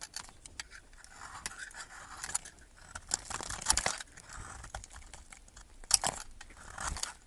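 A metal knife blade scrapes and carves a solid yellow bar of soap held in the fingers, shaving it into fine curls. The result is a quiet, bright, crackly scraping with irregular crisp strokes, a couple of sharper cuts standing out among the steady shaving.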